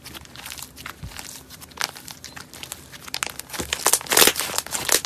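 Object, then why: Fluffy foam slime. Fingers stretch and fold a thick, white, fluffy foamy slime with small pink flecks up close. They produce a steady stream of bright, crinkly air-pops and crackles that grow denser and louder toward the end.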